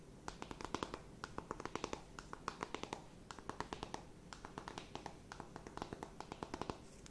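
Long nails tap and scratch a closed, flat rectangular cardboard eyeshadow palette. The result is a quick, irregular run of short, dry clicks with almost no ring, reaching into the bright highs. Soft scratching rustles fill the gaps between them at a quiet level.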